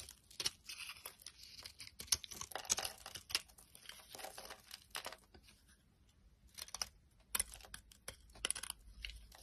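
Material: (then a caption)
Soap. A metal utility knife blade carves and scrapes a solid, dry white bar of soap with red traces from its coating. Bursts of crisp, bright scraping and crumbly shaving come in irregular strokes, with a quiet pause in the middle before the carving resumes.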